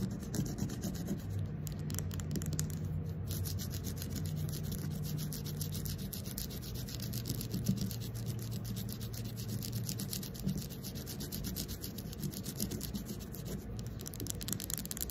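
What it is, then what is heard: Carved wooden ball. Long acrylic nails scratch and rub the carved surface of a fist-sized, round carved wooden ball that is likely hollow. The result is a steady, dense stream of rapid, bright scratching over a low, humming rumble, holding an even level for the whole clip.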